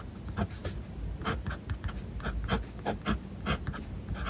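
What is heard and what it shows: A blue fountain pen's steel nib scratches across the page of a spiral-bound paper notebook lying flat on a desk as a hand writes Japanese text. Short, dry scratching strokes with bright edges come in quick bursts over a low steady rumble.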